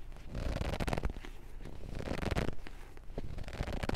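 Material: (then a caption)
Paper. Fingers grip a thick paperback book with yellowed pages and riffle or scratch along its page edges and spine. The sound is a series of dry, papery scratching and fluttering bursts with a soft, low body, each ending quickly with no ring.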